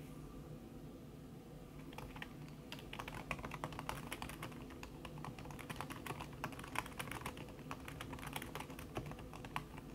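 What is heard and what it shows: Long red fingernails tap quickly across a backlit laptop keyboard in a silver aluminum body, its keys covered by a thin red silicone skin. The typing is a dense stream of short, muted clicks that starts softly and grows busier after about two seconds, over a steady low hum.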